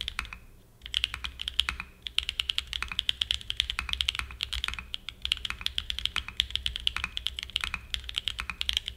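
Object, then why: Small aluminium-cased mechanical keyboard with plastic keycaps. A small 60% mechanical keyboard with a black aluminum case and white and grey plastic keycaps, resting on a desk mat, is typed on continuously with the fingertips. The key presses make a rapid stream of short, sharp, bright clacks with almost no ring, over a faint low hum.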